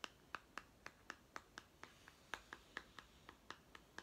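Fingernails tap and scratch a small hollow plastic toy food tin with a printed blue label, held close in both hands. Seventeen short, crisp clicking taps come at a steady pace, each bright and midrange with almost no ring.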